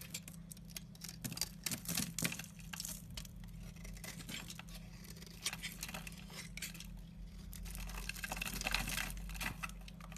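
A utility knife slices and scrapes flaky curls off the edge of a solid white bar of soap. The result is a run of quick, bright, crisp scratches and crackles, with a steady low hum underneath.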